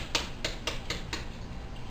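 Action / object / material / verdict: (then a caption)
tap / French bread loaf crust / bread crust / crisp. Five sharp, dry taps with a crisp, hollow click ring out on the crust of homemade French bread loaves fresh out of the oven, each dying away almost at once. The crispy tap shows the loaves are crusty and baked through, while still soft in the middle.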